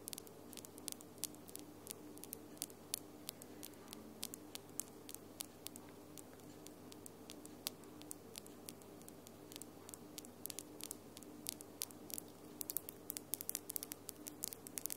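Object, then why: Acrylic press-on nails. Long almond-shaped acrylic press-on nails with lilac glitter polish tap against each other, the nails of both hands clicking together in front of the recorder. Quiet, sharp, very short clicks are scattered over a steady low hum, coming faster and more densely toward the end.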